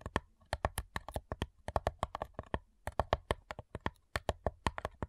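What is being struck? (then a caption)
Thin wooden box lid. Long nails tap rapidly on the lid of a flat, hollow cigar box made of light wood, giving about thirty short, crisp clicks in a quick, uneven rhythm. Each tap has a low, hollow knock under a brighter tick and dies away almost at once, with a brief pause midway before the tapping picks up again.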